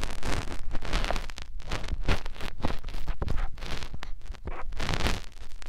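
A fingertip rubs and presses into the ear canal and along the folds of a white silicone binaural microphone ear. It makes close, muffled rumbling and scratchy rustling in a steady run of short, dense bursts, almost all deep low-end thumping with little brightness.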